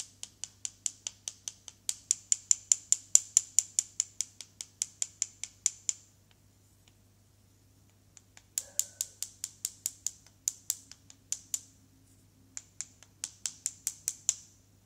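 A small solid grey-white stone with leftover plaster, held between the fingertips over cardboard, is tapped and knocked about 46 times with the head of a small wooden mallet to chip the plaster off. The sound is a fast run of sharp, dry, bright clicks that stop dead with no ring. They come in three bursts separated by short pauses, over a faint low hum.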